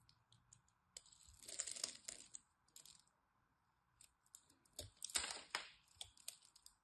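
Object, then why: Green bar soap. A blade scrapes a solid green bar of soap carved into cubes, crumbling pieces off. Quiet crisp ticks and scratches build into two louder, bright, crackling bursts of crumbling, with a faint steady hum underneath.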